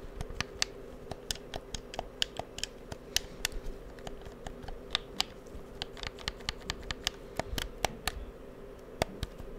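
Fingertips click the buttons and triggers of a black, hollow, handheld plastic PS4 controller and tap its shell close to the microphone. The result is a steady run of about 33 short, dry, bright clicks and taps that die away almost instantly, over a low, constant hum.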